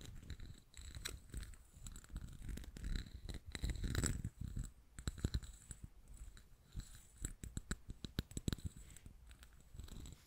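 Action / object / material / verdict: tap / glazed ceramic cup with raised relief / ceramic / none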